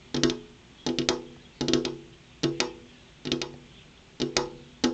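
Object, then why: Glass window pane. Long purple-painted fingernails tap rhythmically on a large, solid, flat glass window pane. About seven quick clusters of sharp clicking taps repeat at a steady pace, each with a short, dull ring around 250 Hz that dies away almost immediately.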